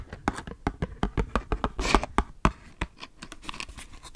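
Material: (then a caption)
Cardboard. Long nails tap rapidly on a small, hollow "Three Stars" cardboard matchbox with matches inside, giving a quick run of about twenty dry, clicky taps. Each tap has a soft low thump and dies away almost instantly. A brief scratchy rustle comes midway, and the taps grow lighter toward the end.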